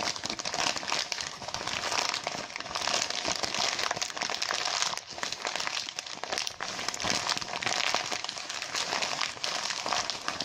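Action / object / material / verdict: scrape / mylar foil balloon / mylar foil / none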